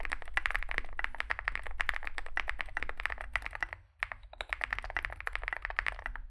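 Fingertips type continuously on a small 65% Zoom65 mechanical keyboard with a dark case and white and grey SA plastic keycaps. A rapid stream of short, sharp clacks runs throughout, with a brief pause just before the four-second mark, over a steady low hum.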